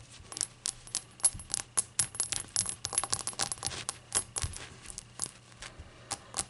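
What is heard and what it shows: A glass shot glass is tapped and fidgeted with, giving a quick, irregular series of bright, high-pitched clinks and taps. Each tap rings only briefly before fading, with soft handling sounds in between.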